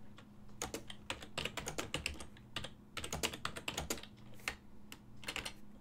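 Fingertips type on a full-size black and silver plastic ergonomic desktop keyboard with hollow key switches. The result is a quick, uneven run of short, dry clacks with a bright click near 2.8 kHz and almost no ring. A faint steady low hum sits underneath.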